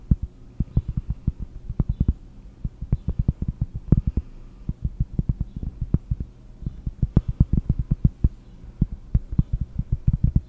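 Fingers tap on cork in a fast, uneven series of deep, close taps. Each tap is a short, dull, low thud that dies away almost at once, over a faint steady low hum.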